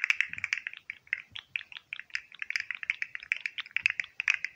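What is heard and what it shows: A hand-sized, hollow green and white jointed plastic fidget slug toy is held in one hand while fingertips flex and click its articulated segments close to a microphone. The result is a rapid, continuous stream of short, dry, bright plastic clicks and ticks, concentrated in the high range with almost no low end.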